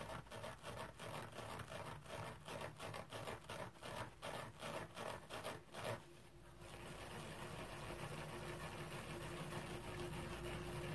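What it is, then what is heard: Stainless steel mesh scrubber. A palm-sized round stainless steel mesh scrubber sponge with shiny mesh and a yellow plastic rim, lying on a towel, is scratched dry with fingertips and nails. For about six seconds there are quick, rhythmic raspy scratches, about three per second, each bright and crackly. These give way to a steadier, continuous rubbing scratch with a faint low hum.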